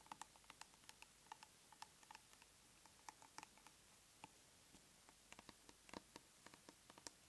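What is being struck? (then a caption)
Plastic cosmetic tub lid. Long nails tap and scratch the lid face of a large round plastic tub of aloe soothing gel held upright. About 23 quiet, sharp, bright clicks land at an irregular pace, each dying away almost instantly over a faint steady hiss.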